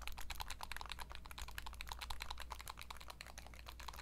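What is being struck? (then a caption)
Plastic handheld game console. Long nails tap rapidly on a turquoise Nintendo Switch Lite, a small hollow handheld game console, striking its plastic body, buttons and glossy screen. The taps are quick, dry, bright clicks centered around 1 kHz with higher overtones, layered over a steady low hum near 60 Hz.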